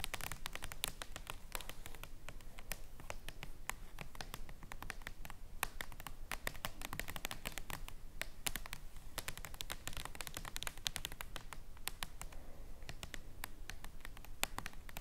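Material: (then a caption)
Paper. Long nails tap rapidly on a giant, thin, flat paper playing card printed as the King of Hearts, lying on a table. The result is a quiet, steady stream of sharp, dry, bright clicks and light scratches at an uneven pace, each dying away instantly over a soft low rumble.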